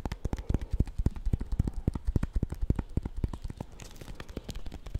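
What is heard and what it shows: Fingernails rapidly tap and scratch a small, solid bar of soap in a white paper wrapper with a purple label, held in the fingers. The result is a fast, uneven run of short, dull, low-heavy taps with faint papery scratching between them.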